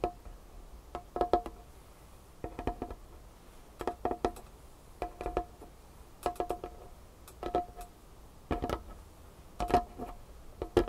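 Long painted fingernails tap quickly on a large, solid, dark wood tabletop. The taps come in short, rapid bursts about once a second, each a dry, woody click with a hollow tone near 700 Hz that dies away almost at once, with little bass or high-end brightness.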